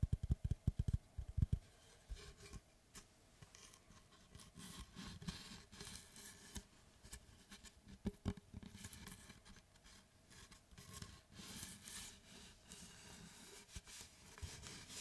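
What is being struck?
Round wooden tree slice.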